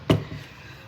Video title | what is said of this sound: Buyers Tour single story Oak Harbor | Front door is solid wood door.